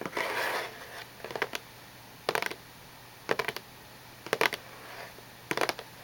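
Long painted nails tap and scratch the sides and edges of a small, hollow, cube-shaped cardboard tissue box with a glossy gold-printed surface and tissues inside, using both hands. A brief scratchy rustle opens the clip, followed by six separate flurries of quick, dry, bright clicks with almost no ring, spaced by quiet pauses.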